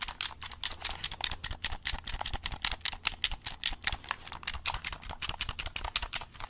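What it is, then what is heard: Plastic game controller. A black hollow plastic game controller is turned in the hands while fingertips press its buttons and tap its triggers. The result is a rapid, uneven stream of dry, bright plastic clicks and taps that stop instantly with no ring, over a faint low hum.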